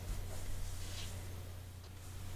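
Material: Nothing is struck.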